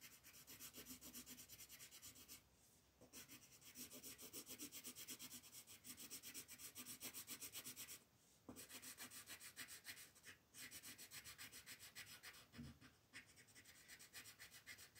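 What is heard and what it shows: A green colored pencil is scratched quickly back and forth across a flat paper coloring sheet on a table while coloring a stem. Dry, bright, scratchy strokes repeat in a rapid, steady rhythm, about four per second, with brief pauses near 2.5, 8 and 10.5 seconds.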